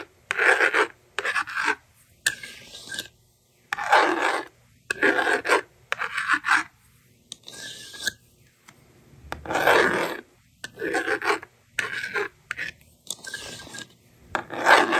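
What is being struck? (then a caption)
Plastic magnetic drawing board and stylus. A handheld plastic magnetic drawing board: a yellow plastic stylus scratches numbers onto the honeycomb screen in short bursts, and long red nails push the bottom slider to erase the writing. Dry, rasping strokes with a bright hiss alternate with brief silences, and the slider adds a smoother sliding sound.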